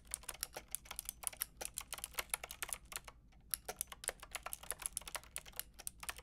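Fingertips with long red nails tap on a Lofree plastic mechanical keyboard with a plastic frame and round keycaps. The typing comes as a fast run of short, bright plastic clicks. It pauses briefly near the middle, then resumes at the same quick pace.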